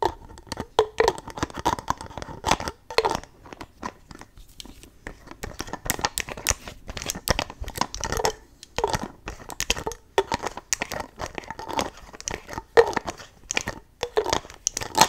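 Long nails remove and tap the cap and nozzle of a clear plastic spray bottle filled with pink liquid. The result is a steady stream of short, dry plastic clicks, taps and crinkly scraping that fade almost instantly, with quick bursts of activity between brief pauses.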